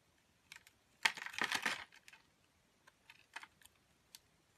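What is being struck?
Bar soap scraped by a metal blade.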